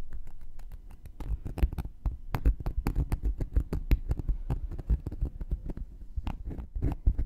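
A round, flat, solid cork coaster is held in one hand while a thin wooden knitting needle taps and pokes at its surface and rim. The result is a rapid, irregular patter of short, dull, low-heavy clicks and scratchy pokes with almost no ring after each hit.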